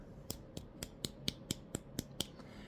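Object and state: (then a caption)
Dried-out hollow gourd. A moldy, dried-out gourd pumpkin, caved in on one side with its stem sunken down, is tapped nine times at a steady pace. Each tap is a short, dry, hollow click that sounds like tapping on plastic, with almost no ring.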